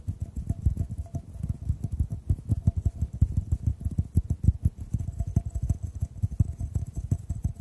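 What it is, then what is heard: Glass tube tapped. A clear, hollow, empty glass tube is held horizontally and tapped quickly with the fingertips over the microphones. The result is a dense, continuous patter of soft, deep, muffled thuds with almost no ring, under a faint thin tone and a light high hiss.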